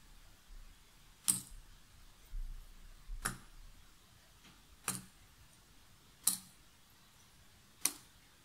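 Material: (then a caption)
Cardboard. A small handful of cardboard jigsaw puzzle pieces is held and rubbed between the fingertips and long nails above the box lid. Five sharp, bright clicks stand out over a quiet, soft rustle and low rumble. Each click dies away almost instantly.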